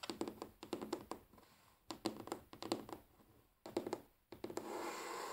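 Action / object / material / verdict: tap / wooden tabletop / wood / none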